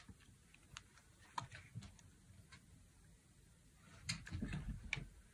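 A utility knife blade carves long curls from a dry, solid, palm-sized tan bar of soap. Quiet, irregular bright scraping ticks and soft crackles come in sparse bursts, clustering near the start and again toward the end over a low, dull rumble.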